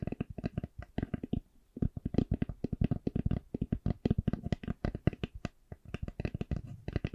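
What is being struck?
Eyeglass case.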